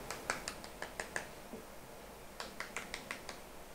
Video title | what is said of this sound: ХРУСТЯЩИЕ ВАФЕЛЬНЫЕ ТРУБОЧКИ С КРЕМОМ. Пирожные нашего детства /Wafer rolls with cream | насколько они сухие как постукивают